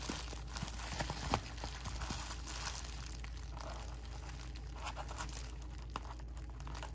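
A clear plastic bubble wrap sheet is held in both hands while fingertips pinch, crinkle and pop its air-filled bubbles. Soft, steady crinkling runs throughout, broken by sharp, bright pops scattered across the clip, over a constant low hum.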